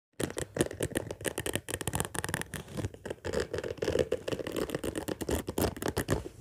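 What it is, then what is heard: Padded fabric case, scratched and tapped. Long fingernails and fingertips scratch and tap across the top of a large, flat, orange padded fabric case with a black zipper lying on a table. The result is a steady, dense stream of quick, dull taps and rustling scratches, mostly low and muffled with a bright scratchy edge.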